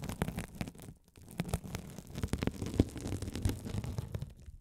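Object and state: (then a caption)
Mesh scouring sponge scratched with a metal roller. A rolling gold metal spiked roller scratches a hand-sized blue scouring sponge with a sparkly woven glitter mesh cover, soft and solid, held over the mics. Close, low, rumbling scratching and crackling rasps come in quick irregular bursts, with a brief quieter dip near the one-second mark.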